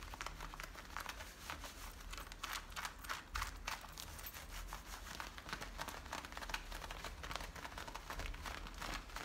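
Fingertips and nails scratch and rub the front and frayed waistband of worn blue denim jeans. Dense, dry scratching and crinkling comes in quick bright bursts over a steady low rumble, staying fairly even throughout.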